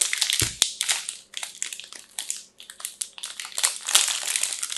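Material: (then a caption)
Plastic film. A pink-striped "fresh" multipack of solid soap bars in closed, clear crinkly plastic film is held in both hands and squeezed and crumpled with fingertips and long nails. Quick, irregular bursts of bright, high crackling and crinkling follow one another with little low end. A couple of dull low thumps come near the start.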